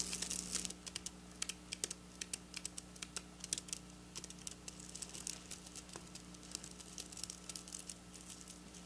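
Long black nails pick, tap and scratch silver sequin fabric lying on a counter, up close. It opens with a brief continuous scratchy rustle, then becomes a stream of many crisp, bright clicks and crinkly ticks that die away almost instantly, over a faint steady low hum.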